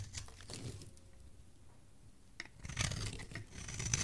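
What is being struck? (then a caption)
Bar soap scraped with a metal blade. A solid white bar of soap with purple specks, held in the hand, is scraped with a metal blade. Dry, crisp scraping and shaving bursts are heard, fading to a quiet stretch in the middle before rougher, louder scrapes with bright edges return at the end.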